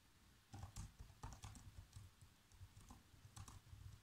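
Fingertips press the black plastic keys of a laptop keyboard, making a quiet, uneven run of soft typing taps. Each tap is short, with a dull low thump and faint bright clicks.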